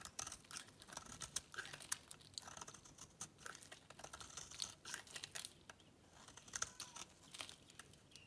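A metal blade cuts a grid into a solid, dry white bar of soap and scrapes off dry, crunchy shavings. The result is a quiet, steady run of crisp, bright crackling and scraping with short, sharp ticks that stop dead, and almost no low end.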